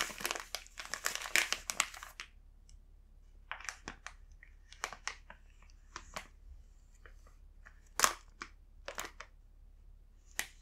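A full green plastic Rumando snack bag is held and rubbed with the fingertips, giving bright, crisp crinkling. A dense burst of crinkles comes in the first two seconds, then short scattered crackles with quiet pauses between them.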